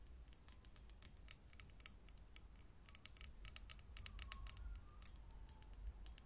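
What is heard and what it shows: Long nails rapidly tap a lit, hollow, clear glass vintage filament light bulb, making a quick run of sharp, bright clicks over a steady low hum. A few faint, short glassy rings sound around 1 kHz, and each tap fades almost at once.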